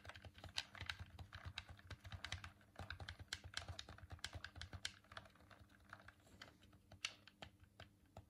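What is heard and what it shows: A hollow white plastic Dreamcast controller is held in both hands while a thumb presses its face buttons and rubs over the plastic. The result is a rapid, uneven run of short, dry, bright clicks and taps with soft rubbing between them, over a faint steady low hum.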